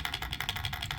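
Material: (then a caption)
Plastic. A 1990s Tiger Electronics Pokémon handheld LCD game in a plastic case is shaken, producing a quick series of light, clicky rattles from something loose inside. The source of the rattle is unknown.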